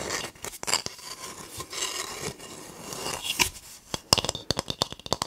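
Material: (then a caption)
Coconut husk. A palm-sized, whole hard-shelled brown coconut with a barcode sticker is held in both hands close to the microphone while fingertips and nails rub and scratch its fibrous shell. The result is a bright, dry rasping and scraping, mostly high-pitched with little low end. Steady rubbing gives way to a quicker run of sharp, short scratches near the end.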